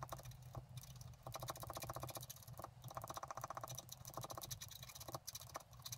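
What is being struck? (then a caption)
Black-coated scratch art card scraped with a wooden stylus. A wooden stylus scratches rapid short strokes into a flat black-coated scratch art card on a table, working along the grass at the bottom of the card. Quick bursts of fine, dry, bright scraping ticks come in repeated runs, separated by brief pauses, over a steady low hum.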